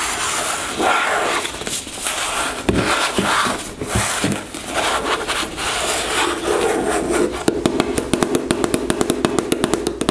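Long nails scratch along the printed surface of a white plastic gel tube held sideways in both hands, making a dense, bright, rustling scrape for about seven seconds. It then turns into a rapid run of sharp, short-lived taps with a hollow, mid-pitched plastic tone.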